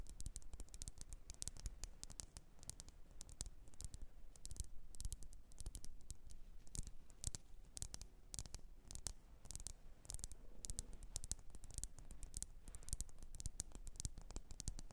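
Long nails tap rapidly and continuously on a lit, wax-filled red glass candle jar. The taps are quiet, short and bright clicks with almost no ring, set over a faint low rumble.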